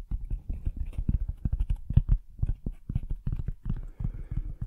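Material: Cardboard.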